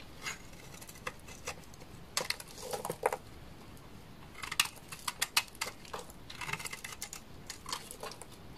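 A utility knife blade scrapes curls from a large, solid, dry beige laundry soap bar with a stamped leaf pattern. The result is a quiet series of short, crisp, bright crackling scrapes and ticks in uneven bursts, with very little low end and almost no ring.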